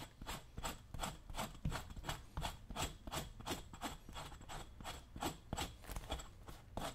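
A dull metal chisel is scraped over the vamp and toe leather of a brown leather work boot worn on a foot, while the other hand steadies the boot. The result is a steady run of short, rasping scrapes at a quick, loose rhythm, each a bright hiss over a dull low rub.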